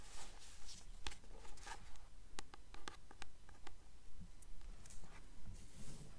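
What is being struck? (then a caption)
Paperback book with a glossy paper cover. Long nails tap and scratch the glossy front cover of a solid paperback copy of The Titan's Curse, held upright with the front cover facing forward. About 13 soft, evenly spaced taps come at a steady pace, each short and dry, with faint scratchy rustling and crisp bright clicks between them. The sound is quiet and close.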